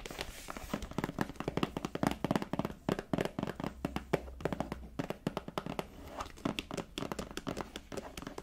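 A small folded black leather wallet, soft and mostly solid, is held in one hand and tapped and scratched with long dark-painted nails. Quick, dull, short taps come in rapid clusters with faint scratching between them over a low steady hum.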